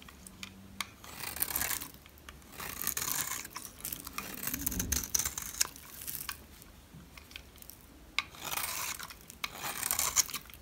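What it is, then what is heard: Dry soap bar being shaved. Fingers with red nails hold a solid, light green, rectangular dry soap bar while a metal blade shaves its edge. Repeated bright, crisp scraping and rasping passes come in separate bursts, with short sharp clicks between them.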